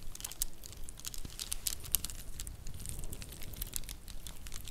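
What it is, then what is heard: Plastic faux pearl bracelet. A stack of dress-up faux pearl bracelets with solid plastic beads in white and champagne tones is held in both hands and rolled and clacked with the fingertips and nails. The result is a dense, uneven stream of bright, short clicks and clacks over a soft low rumble.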